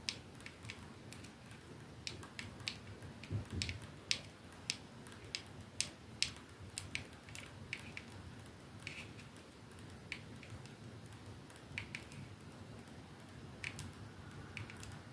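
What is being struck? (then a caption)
Glass perfume bottle with metal band. Fingertips and nails of both hands slowly tap and scratch the silver band and glass end of a capsule-shaped glass perfume bottle resting on a dark surface. Quiet, sharp, bright clicks and ticks sit over a soft low rumble and faint scratching, each tap dying away almost at once.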